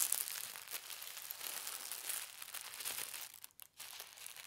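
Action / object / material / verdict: scrape / thin tissue paper sheet / paper / none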